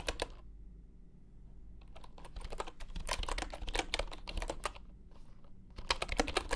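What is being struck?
Bamboo computer keyboard.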